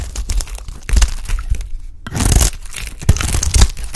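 A bright green bar of dry soap, held in the hand, is cut into chunks with a utility knife blade. The sound is a rapid series of crisp, crunchy scraping and snapping cuts with a dull low thump beneath them. A brief quiet gap near the middle separates two dense bursts of bright, gritty cutting.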